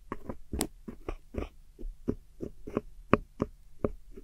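A metal hook tool scratches and digs into a silver pressed powder eyeshadow pan set in a small square black plastic palette, breaking the powder up. The result is a string of short, dry, crumbly scrapes and crunches at an uneven pace, with a faint low hum underneath.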